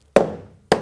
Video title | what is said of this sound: Building Evelyn: Fitting, glueing and fastening planks, EP18 | you can actually tell uh by just tapping on it listen to that solid solid it's quite solid